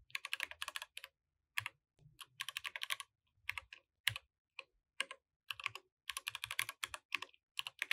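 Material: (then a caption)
Plastic. Both hands type continuously with their fingertips on a compact mechanical keyboard with plastic keycaps. Quick bursts of bright, sharp key clicks die away almost instantly, separated by short pauses.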